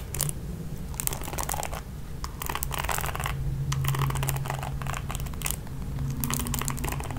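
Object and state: Plastic hairbrush bristles scratched.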